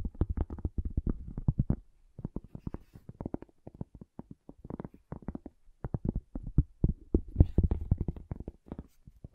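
A cork object is tapped in quick, irregular bursts of short, dull knocks, with a brief pause near the two-second mark. The taps are soft and low-pitched, with no ring after each one.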